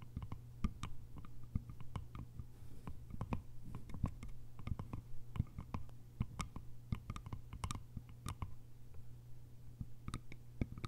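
Long nails tap quickly over the lid top and sides of a small, hollow, cylindrical bamboo container with a lid. The result is a quiet, irregular stream of short, dry clicks with bright edges that die away at once. A steady low hum runs underneath.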